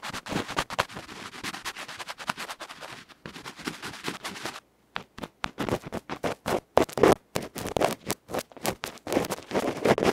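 A bamboo ear pick scrapes the dark felt front and the metal rim of a small electret microphone capsule held in the fingers. It produces dense, rapid, bright scratching strokes, then a brief pause of near silence. After the pause come sharper, louder, more separated scrapes with a dry, close sound.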